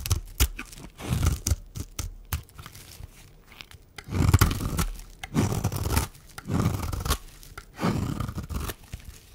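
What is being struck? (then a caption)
Bar of soap. A metal blade shaves and scrapes thin flakes off the edge of a solid, dry white bar of soap held in one hand. Repeated crunchy, tearing scrapes come in uneven bursts, some brief and some drawn out over about a second, with short quiet gaps between them.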